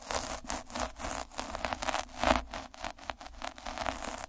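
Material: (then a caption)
Felt. A black plastic derma roller with a purple drum of fine metal needles is held by the fingertips and rolled back and forth over a flat red felt or flocked cloth. The needles scratch and crackle against the fibres in a dense, bright, rustling texture that swells and fades with each stroke.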